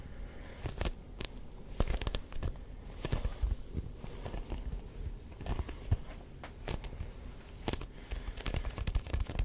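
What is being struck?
Grooved rubber ball.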